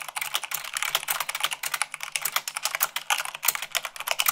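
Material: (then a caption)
Plastic. Long pink nails and fingertips type fast, at about 98 words per minute, on a full-size mechanical keyboard with white plastic keycaps on a black frame. A rapid, steady stream of crisp, bright clicks and clacks is heard, each stroke short and dry with no low thump beneath it.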